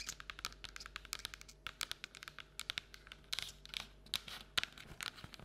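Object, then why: Paperboard bucket. An empty paperboard Halloween treat bucket is held and lifted in both hands while long nails tap its printed side and rim. The result is a quick, uneven run of quiet, dry, bright clicking taps that stop dead with no ring, with faint scratchy crinkles between them.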